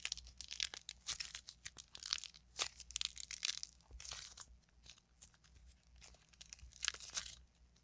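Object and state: Modeling clay lump being crushed.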